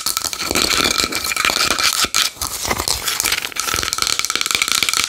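Long nails tap rapidly on a small wooden bowl. The result is a continuous stream of dense, bright clicking with a rattling texture, mostly in the high frequencies with very little low end, and a faint tonal ring near 2.3 kHz. There is a brief dip in the tapping partway through.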